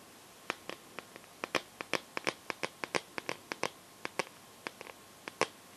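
Long painted nails tap and scratch a smartphone's clear plastic case filled with liquid glitter, the phone held in both hands. About two dozen short, crisp, bright clicks come in an irregular rhythm, each dying away almost instantly with very little low end, over a faint steady background hiss.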